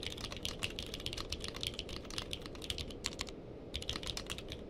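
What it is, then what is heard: Mechanical keyboard with plastic keycaps. Fingertips of both hands type on a purple-cased mechanical keyboard with plastic keycaps, producing a quick run of sharp, bright clicks over a steady low rumble. The keystrokes come in fast bursts with a brief pause near the end before typing resumes.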